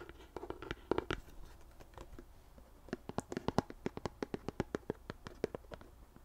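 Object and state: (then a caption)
Plastic lotion pump bottle. A white plastic CeraVe lotion pump bottle is tapped with long nails on its front label and sides. It gives a rapid series of short, dry, clicky taps with no ring, sparse at first and then denser and steadier in the second half, with a faint scratchy texture between hits.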